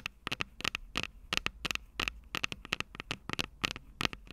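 Long purple nails tap and scratch the metal microphone capsules of an upright Tascam DR-05 recorder, making about twenty-two quick, sharp, bright clicks in an uneven rhythm with soft scratchy rustle between them. Each tap is dry and dies almost instantly over a faint low hum.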